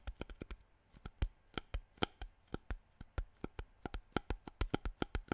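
Fingertips tap and crinkle a hollow, mostly empty clear plastic water bottle with a green cap, held up in the air. About 27 quick, dry taps come in an uneven rhythm, each a sharp click with a soft low thump and a bright crackle. They die away almost instantly, with no ring.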